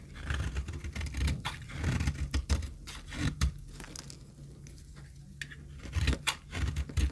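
A metal knife scrapes and cuts dry flakes off an oval, solid, very dry pink retro soap bar held in a palm. Crisp, bright scraping strokes and short crackling cuts come in quick bursts over a low background rumble. They ease into a quieter stretch midway before a few sharper scrapes return at the end.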